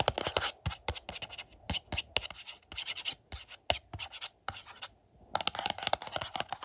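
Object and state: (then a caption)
Cardboard slipcover on a disc case. Fingernails scratch the glossy cardboard slipcover of a collector's edition Blu-ray of The Howling, lying on carpet. Quick, dry, bright scratching strokes come in clustered bursts with short tapping accents, pausing briefly around five seconds before a denser run of scratches resumes.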